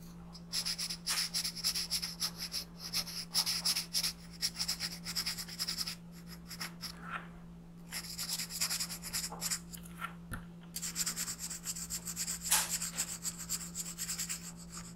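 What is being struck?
Colored pencil on a paper sheet.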